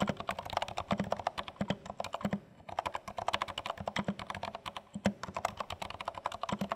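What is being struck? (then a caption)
Plastic mechanical keyboard. Fingertips of both hands type steadily on a compact dark plastic HHKB Studio mechanical keyboard. Some 46 short, dry keystrokes are heard, each with a muted low thock and a clacky mid-range click, pausing briefly midway.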